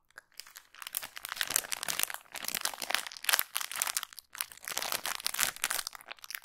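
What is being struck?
Thin plastic packaging bag.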